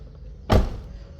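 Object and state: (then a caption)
Sound-deadened car door, dull knock. A car door, sheet metal fitted with sound-deadening layers, is struck once, giving a single dull, low thump centred around 60 Hz. The impact dies away in under a tenth of a second, with almost no ringing or high-frequency rattle, and the door sounds deadened.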